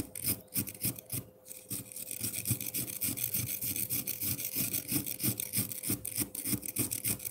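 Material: Ice.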